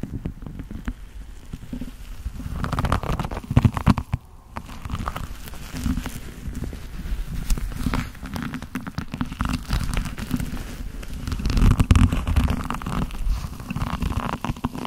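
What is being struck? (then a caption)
Leather gloves. Black leather gloves worn on both hands rub and squeeze against each other in front of the chest, with leather jacket sleeves nearby. The result is a steady run of low, muffled creaking and rubbing, broken by dense, irregular crackles and soft squeaks that swell louder around the middle and near the end.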